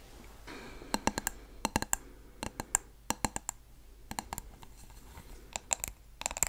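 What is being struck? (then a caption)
Wax-filled glass candle jar. A medium blue glass candle jar filled with wax is held in the hands and tapped and scratched with long nails on its glass sides and bottom. Sharp, bright clicking taps come in quick, irregular bursts, each with a brief high glassy ping that dies away almost at once. Soft scratching fills the gaps between them.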